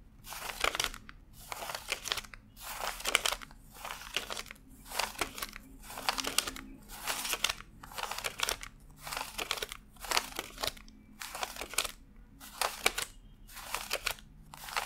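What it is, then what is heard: Paper banknotes being counted. A stack of thin US $100 paper bills fanned on a desk is counted one by one as fingertips flick and rub each bill. The result is a steady, evenly spaced run of short, bright papery crinkles and crisp snaps with almost no low end and quiet gaps between each flick.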